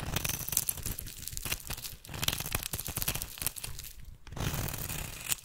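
A metal blade shaves flakes off the end of a solid oval bar of rancid red soap held in the hand. It makes rapid, crisp, crunchy scraping and crinkling with bright high-frequency texture and a steady low undertone, pausing briefly between strokes.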